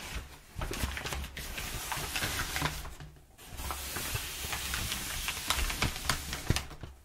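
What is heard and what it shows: Hands rub over crumpled, perforated kraft packing paper while nails scratch its surface, making a dense, crackling, papery hiss with bright rasping scratches and low rustling. The rubbing starts quietly, swells after a moment, briefly drops away near the middle, then resumes with sharper, crisper scratch peaks before fading at the end.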